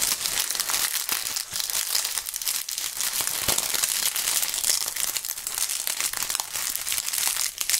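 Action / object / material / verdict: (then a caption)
scrape / bunch of autumn leaves / dried leaves / none. A bunch of dry brown autumn leaves, held between hands in fingerless gloves, is crumpled and torn with the fingertips close to the microphones. The result is a dense, continuous, bright crackling and crunching with occasional sharper snaps, steady in level throughout and with almost no low end.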